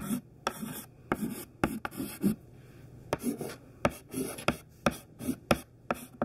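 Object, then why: Chalk on a slate chalkboard. Thin white classroom chalk held in the fingertips writes capital letters on a smudged black chalkboard. Twelve sharp, bright taps mark where the chalk meets the board, joined by softer scratching strokes at an uneven pace of about one per second.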